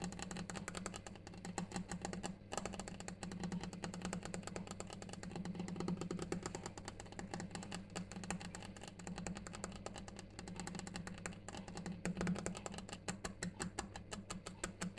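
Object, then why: Granite slab. A granite surface is tapped continuously in rapid, dense, short clicks with very little ring, steady throughout. A clock ticks in the background over a low, constant hum.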